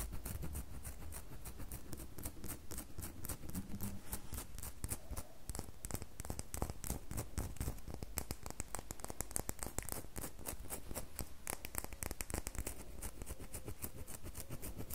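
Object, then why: Bar of soap. Long fingernails scratch the surface of a small, solid red bar of soap held in the hand. The sound is a quiet, steady run of rapid, dry scratching clicks over a low rumble, keeping an even pace throughout.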